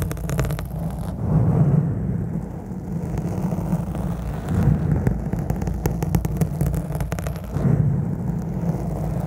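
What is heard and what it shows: Long black nails scratch hard across the top of a round black foam microphone windscreen. The result is a dense, rumbling, whirring scrape concentrated in the low end. It swells in several louder bursts, with faint bright ticks above.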